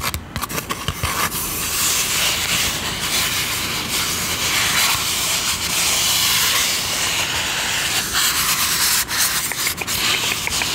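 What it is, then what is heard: Styrofoam cup being scratched. The hollow side of a white, empty-looking styrofoam drinking cup, held in both hands, is rubbed and scratched with long manicured nails. This makes a continuous, bright, hissy scratching with little low end. It holds a fairly steady level, with a few brief dips as the strokes change.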